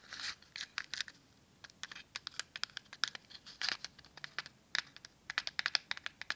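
A small red and white cardboard matchbox with matches inside is held in both hands and tapped and scratched with long nails. About thirty quiet, dry, bright clicks and short scratchy bursts follow one another with almost no ring. A few longer crinkly scrapes are mixed in.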